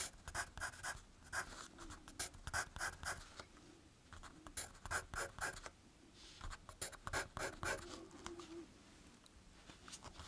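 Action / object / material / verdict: scrape / graphite pencil on a thin paper page over a firm backing / paper / none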